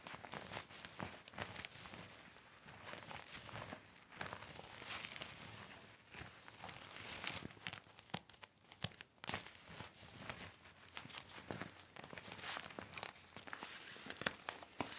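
A deflated, hollow silver and clear vinyl inflatable mat with colored stripes lies flat and is rubbed and wiped with a yellow cloth and fingertips. The result is a steady stream of bright, crisp plastic crinkles and rustles, broken by sharp, quick snaps that die away at once.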